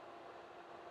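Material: Nothing is struck.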